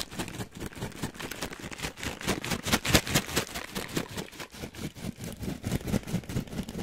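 An orange plastic/foil snack bag with nuts inside is held up and shaken close to the mic. It gives dense, bright crinkling with rattling bursts that come in an uneven, rapid rhythm of about two per second. The bursts swell loudest near the middle and settle back down.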